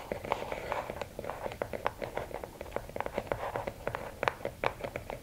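Long nails scratch the sides of a closed, hollow red and black rigid cardboard gift box, then tap quickly on its lid. The result is a quiet run of dry, crisp clicks and scrapes with a hollow mid tone around 500 Hz and almost no ring.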